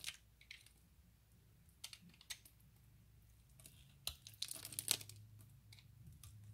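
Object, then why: Glycerin soap bar cut with a blade. A utility knife blade scrapes and cuts a grid of small cubes from a solid, translucent orange glycerin soap bar held in the hands. Quiet, crisp, bright scrapes and snaps come in irregular bursts over a faint low hum, each dying away almost instantly.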